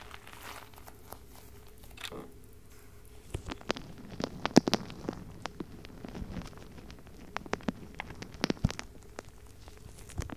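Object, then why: Rubber stress ball filled with gel beads. A palm-sized purple-pink squishy stress ball, with a soft rubber mesh skin over gel beads, is held in one hand and squeezed and rubbed with the fingertips close to the microphone. Soft crinkling, squelching and crackling sounds come in quick, dry bursts over a low hum. The bursts are quiet at first and then grow louder and more frequent.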